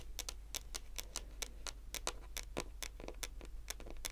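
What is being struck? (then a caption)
Wooden tabletop. Long fingernail tips tap a solid, dark wood-grain tabletop in a steady ticking rhythm. Each tap is a quick, dry, bright click that dies away almost instantly, over a constant low hum.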